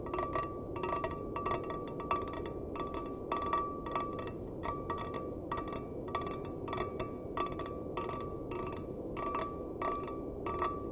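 A small, hollow, empty stainless steel mug, held with its bottom facing out, is tapped and scratched with fingertips and nails. Quick bursts of bright metallic clicks and scrapes repeat steadily, each with a short ring near 1.2 kHz. They sit over a constant soft, low noise bed.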